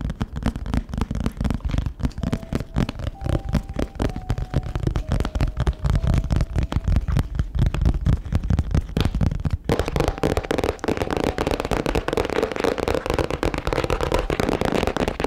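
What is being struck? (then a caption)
Hardcover book with embossed cover. A medium-sized, solid hardcover book with a glossy, embossed teal cover and paper pages is held in both hands close to the microphone while long nails and fingertips tap and scratch its cover. Quick, irregular, low, thuddy taps with crackly edges fill the first part, with a faint steady tone in the background. After about ten seconds the sound turns into a denser, brighter scratching.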